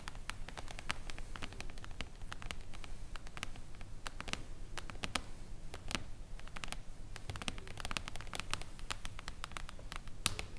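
Long acrylic nails tap rapidly and irregularly on the silver mirror-foil cover of a flat, solid hardcover book. The result is a steady patter of short, bright clicks that die away almost instantly, over a soft low rumble and faint rustling.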